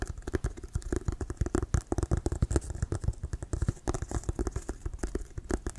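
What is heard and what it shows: Fingernails scratch and tap on the sides near the laces of a hollow, inflated Wilson brown leather American football. A steady run of short, dull, low thumps is heard, mixed with light scratchy rustling, each tap dying away almost at once.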